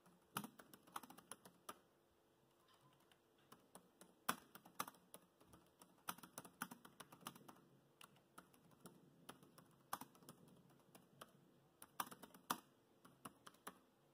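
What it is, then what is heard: Plastic laptop keyboard. Fingertips of both hands tap the black plastic chiclet keys of a grey laptop keyboard in continuous typing. Quick, soft clicks come in uneven bursts with short pauses between them. Each tap is dry and dies away almost at once.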